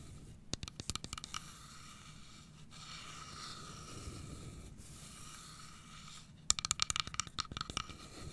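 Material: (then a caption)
Wood. A carved wooden domino box is held upright on its edge while long nails scratch and tap along its grained wooden side. Quick clusters of sharp, bright taps open the clip, followed by several seconds of soft, steady scratching, then a second burst of rapid, crisp tapping at the end.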